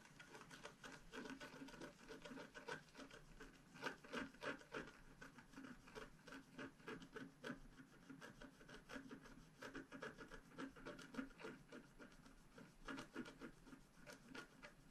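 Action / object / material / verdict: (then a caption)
scrape / scratch art paper sheet scraped with a wooden stylus / coated paper / none. A wooden stylus scratches the coating near the bottom of a flat scratch art paper sheet. It makes a steady run of dry, rasping strokes, each short and quick to fade, with a mid-range scraping tone and bright, crisp edges.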